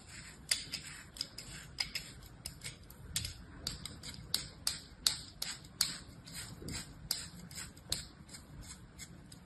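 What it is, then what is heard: Kinetic sand being cut. A mound of beige kinetic sand piled in a palm is cut and scraped with a thin blade on an orange plastic handle. About twenty short, crisp slicing strokes land in an irregular rhythm, each a bright, gritty scrape that stops almost at once over a faint low background.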